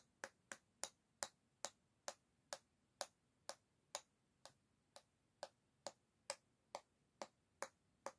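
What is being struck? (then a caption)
Bamboo back of an oval hairbrush. A long fingernail tip taps 19 times on the solid bamboo back of an oval hairbrush held by its handle. Each tap is a quiet, crisp click with a faint woody tone near 566 Hz and a bright top, dying away almost instantly. The taps come at an uneven pace of roughly two per second.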